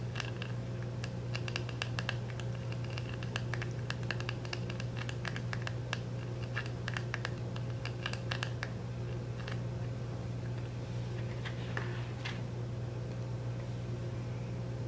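A fingernail scratches and lightly taps the back of a small round plastic makeup compact sealed in cellophane, held steady. Crisp, bright scratchy ticks and soft taps come in bursts over a steady low hum.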